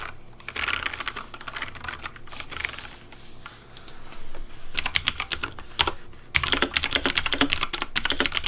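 Fingertips type rapidly on the keys of a pink plastic Razer DeathAdder V3 Pink mechanical keyboard. Soft, uneven tapping gives way to sharper, brighter clicks that grow denser and louder toward the end.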